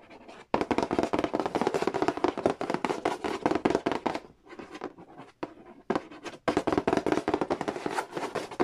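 Fingertips rapidly tap and scratch the lid and edge of a hollow cardboard Monopoly board game box. The dense, irregular taps are short and dry, with a papery midrange knock and a scratchy brightness. They soften and thin out into quieter bursts midway through, then return at full pace.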